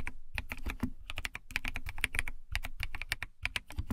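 Long nails and fingertips type quickly on a compact white plastic mechanical keyboard with white plastic keycaps, set in a cat-shaped translucent case. The key taps come in a steady, dense stream, each a short clacky strike with a bright click around 2.3 kHz over a deeper low thump, dying away almost at once.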